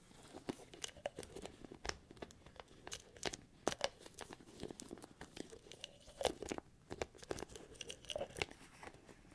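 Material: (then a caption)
Plastic. Fingertips and nails scratch and tap the lid and sides of a small, hollow white plastic bottle, like a supplement bottle, held in one hand. The sound is a quiet, steady run of crisp, bright clicks and short scratchy rasps with a hollow midrange tone. Each tap dies away almost instantly.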